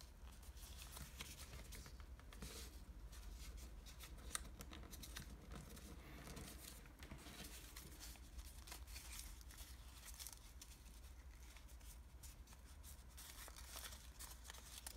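Fingertips press, fold and crease a thin sheet of red origami paper, folded into a pointed shape on a table. Quiet, continuous crinkling and soft crackles with bright papery edges ride over a steady low hum throughout.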